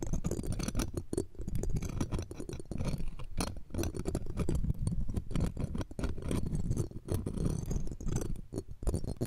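A bundle of metal tweezers scratches and taps the round steel wire-mesh grille of the left pencil condenser microphone. Dense, rapid scraping and tapping is heard with a heavy low-end rumble and faint bright rasp. Each contact dies away almost instantly.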